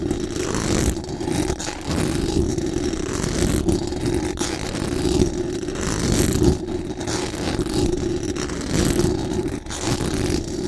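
Very long acrylic nails scratch fast and hard across the hollow metal mesh dome grille of a large condenser microphone, from above. The result is a continuous, dense scraping rasp that is heavy in the low end, with brief dips and sharp crackles throughout.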